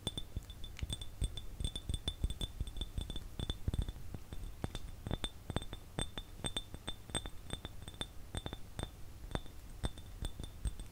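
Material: Glass.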